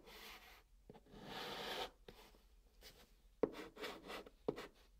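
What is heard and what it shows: A chalk stick held in the fingers writes and dots on the top of a flat brown cardboard box. Soft, dry scratching strokes with a bright, papery hiss alternate with short, sharp taps as the chalk dots the surface. The overall level stays quiet and close.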